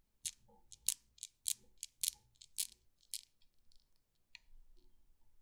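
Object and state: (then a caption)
Steel ball Newton's cradle. Fingertips with long painted nails lift and drop the solid steel balls of a small desk Newton's cradle, the balls knocking and clicking against each other. A series of sharp, bright, dry clicks comes at an uneven pace, each dying away almost instantly, and they thin out into softer, quieter taps toward the end.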